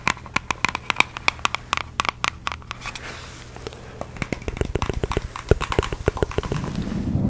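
Long fake nails tap and scratch across the printed surface of a small, hollow red Nike cardboard shoe box held in the hands. Quick, irregular, sharp taps with a hollow knock come first, then a stretch of soft scratching. A denser run of clicky taps follows, ending in rough, rustling scratches.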